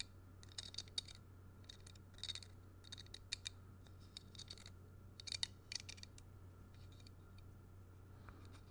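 Fingernails scratch and strum the nail heads and threads of a solid wooden block of nail-and-string art held in the hand. Short clusters of bright, dry, scratchy clicks come in quick bursts, with quiet gaps between them. A steady low hum runs underneath throughout.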